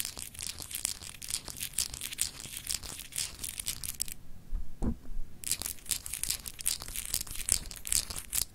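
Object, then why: Glass globe paperweight. Long acrylic nails scratch rapidly across a palm-sized solid glass globe paperweight with etched grid lines, making a dense, bright, crinkly rasping. The scratching stops briefly in the middle, where a short low bump is heard, then resumes at the same busy pace until the end.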